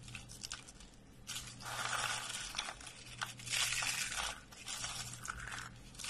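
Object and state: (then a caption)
Dry soap curls crushed. A pile of hollow, curled, dry purple lavender soap shavings is pressed and crushed under a flat hand and fingers. It makes bright, dry crunching and crackling in uneven bursts over a faint steady low hum, and the brittle curls collapse with each press.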